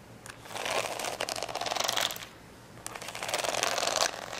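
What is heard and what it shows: Long nails scratch along the rows of gems on the fold of a plastic rhinestone sticker sheet, folded and resting on a towel. Two bursts of dry, bright, crinkly scratching rise and fall with a brief quiet pause between them.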